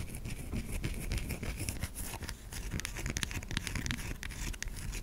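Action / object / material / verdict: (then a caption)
scrape / solid bar of soap / soap / none. Long fingernails scratch across the curved top of a white solid bar of soap held in the palm. The result is a steady run of quick, dry scratching strokes, with short bright ticks over a soft low rumble, and no ring after each stroke.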